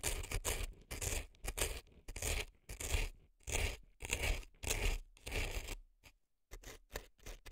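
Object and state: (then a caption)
Dry floral foam being scraped. An earpick scrapes dry floral foam packed into the canal of a left silicone elf ear. Crisp, scratchy strokes come in uneven bursts with short pauses, combining a dull low rumble with a bright, crackling hiss. The sound stops dead between strokes, with almost no ring.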